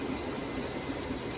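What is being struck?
Nothing is struck.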